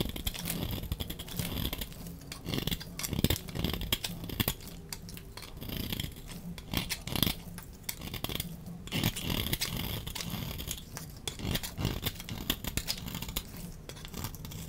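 A utility knife blade scrapes dry flakes off a solid, pale yellow, rounded bar of soap held in the hand. Rapid, crisp scraping and crackling strokes repeat throughout over a steady low hum, with the shavings giving a bright, brittle texture.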